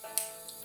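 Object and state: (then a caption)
Live hard clam (clear click). Two hard clams (hamaguri), just purged of sand, are tapped against each other twice to check whether they are alive: a sharp, bright click followed by a softer second tap, each dying out almost at once. The clear, firm sound marks a live clam; a muffled or dull one would suggest it is already dead.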